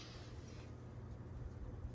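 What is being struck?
Nothing is struck.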